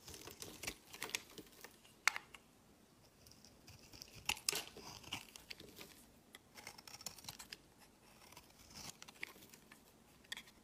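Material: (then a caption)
Soap. A metal utility-knife blade scrapes and carves flakes off the edge of a solid, palm-sized white bar of soap held in the hand. Quiet, bright, crisp scraping and crackling strokes come in short bursts, with a few sharper cuts standing out, each ending dry with no ring.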